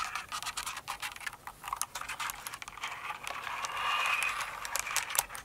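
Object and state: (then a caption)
Plastic mechanical keyboard, typing. A full-size mechanical keyboard with plastic keycaps, resting on a rug, is typed and tapped with long nails and fingertips. The clicks are quick, irregular and bright, with almost no low end. A denser scratchy patch of typing swells near the end of the clip.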